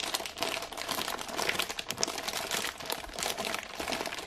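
A full IKEA ginger thins package, wrapped in printed plastic film with a clear window showing the biscuits inside, is held in both hands and scratched and tapped with long painted nails. Dense, bright plastic crinkling and rapid fine clicks run continuously through the clip.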